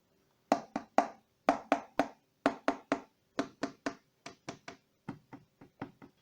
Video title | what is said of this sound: IKEA DIY coffee table with storage from Besta unit | If you tap them lightly, you can hear that they are hollow.